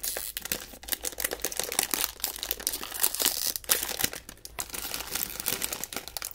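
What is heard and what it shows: A small blue metallized plastic snack bag, sealed and filled with snacks, is pinched and pulled open with the fingertips of both hands. It gives dense, bright crinkling and sharp crackles with almost no low end, and short tearing bursts stand out as the seal gives way.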